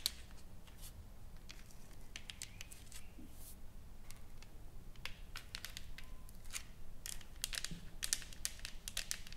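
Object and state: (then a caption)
Painted wooden plaque tapped and scratched with nails. Long nails tap and scratch across a solid, flat wooden sign board with carved lettering and painted flowers, lying on a table. Many quick, sharp, bright clicks and short scratches sit over a steady low hum, with the taps growing slightly louder and denser toward the end.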